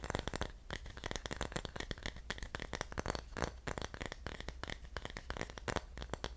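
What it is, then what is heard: Carved wooden pineapple dish. A small carved wooden pineapple-shaped dish of solid wood with a spiky top is held in both hands while fingertips and nails tap and scratch its surface. Quick, dry, closely spaced clicks and scratches run continuously with no ringing, over a steady low hum.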